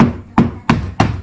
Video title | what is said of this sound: Pembuatan Bot Fiber (Episode 2) | tengok ah ada bunyi lepas